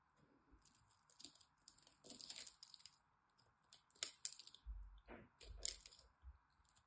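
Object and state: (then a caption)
Dry bar soap being carved. A small blade carves the scored surface of a solid green dry soap bar held in the hand, and soap cubes flake and crumble off. The clip is a quiet run of crisp, bright scraping and crackling ticks with short bursts of crumbling and a few soft low thuds.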